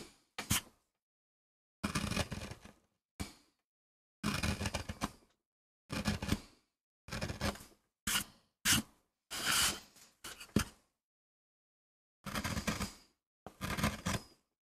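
A small gouge cuts fine lines into the flat surface of a solid MDF relief printing block, held close in both hands, in a sped-up 2x pass. Short bursts of dry scraping and gouging come with sharp, bright clicks and a faint low body thump. They are separated by clear silent gaps, each burst ending abruptly with almost no ring.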